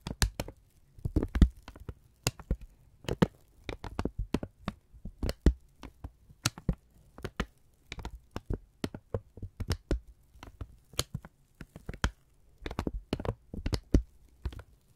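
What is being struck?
Thin kraft paper sheet.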